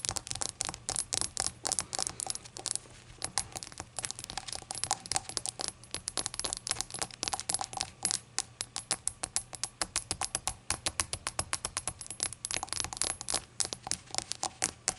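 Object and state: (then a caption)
Glazed ceramic shot glass. Long acrylic nails tap rapidly and continuously on a small, hollow, empty rainbow-glazed ceramic shot glass lying on a towel. Dozens of quick, bright clinking ticks come in uneven bursts. Each tap dies almost instantly, over a faint low hum.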